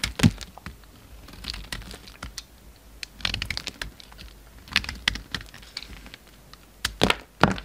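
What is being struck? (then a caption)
Bar of cream soap shaved with a blade. A hand-held solid cream bar soap, carved into a slim shape, is shaved with a utility knife blade. Dry, crisp scraping and cutting sounds come in short bursts of bright crackles and small snaps, with louder cracks near the start and end. Each cut stops instantly with no ringing.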